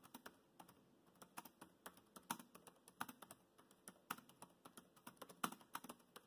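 Fingertips type on the black plastic chiclet keys of a dark grey laptop keyboard, producing a quick, irregular run of light, dry clicks. Each keystroke is short and crisp with a bright, thin tone and almost no low end, fading almost instantly into a quiet background.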